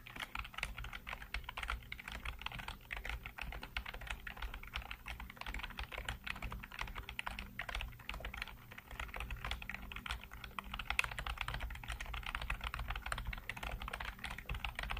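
Fingertips type rapidly on the keys of a black plastic backlit computer keyboard. Dense, crisp clicks and clacks with a bright edge run almost continuously, dipping briefly near the nine-second mark, over a steady low hum.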